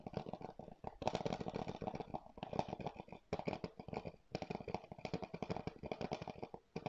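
Fingertips and nails tap and scratch the plastic cover of a single hollow, blue plastic PS4 game keep case held in both hands. The result is quick, dry, clicky taps in dense bursts, broken by short pauses and mixed with soft scratching. Each tap dies away almost instantly.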